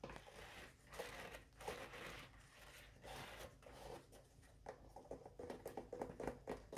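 Long orange acrylic nails scratch and tap inside the hollow cardboard core of a full roll of embossed white paper towel on a kitchen holder, then rub and tap across the soft paper surface and the top of the roll. Soft, papery scratching swells in slow bursts, giving way near the end to quicker, lightly hollow taps with a mid-range tone, and the holder may add some sound.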